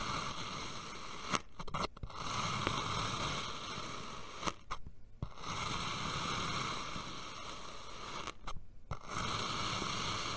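A steel knife blade slices down through a solid, palm-sized purple molded kinetic sand dome on a white table in thin vertical cuts, and the slices fall away. A steady, grainy, crunchy scraping fills the clip, broken by three brief near-silent pauses between cuts.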